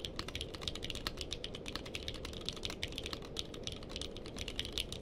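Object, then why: Mechanical keyboard with plastic keycaps. Two hands type with their fingertips on a purple-cased mechanical keyboard with plastic keycaps, giving a fast, steady run of sharp, bright clicks and clacks centred near 2.9 kHz. Each keystroke is short and dies away almost at once, over a steady low background rumble.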